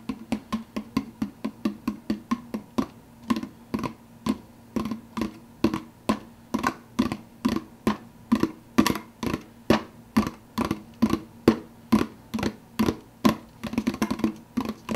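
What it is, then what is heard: Empty plastic soda cup with lid. Fingertips quickly tap the clear plastic lid of a large, empty, hollow, translucent blue plastic soda cup. The result is a steady run of short, dry, hollow taps, a little over two per second, each with a low-mid resonant tone and almost no ring. Near the end the taps bunch closer together.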